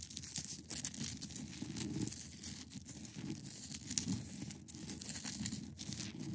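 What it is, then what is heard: Ice block being scratched. Long acrylic nails scratch across a large, solid, clear ice block, producing a quiet, continuous scratchy rasp. Bright, crackly textures sit over a dense, low rustling body, with brief sharper scrapes scattered throughout.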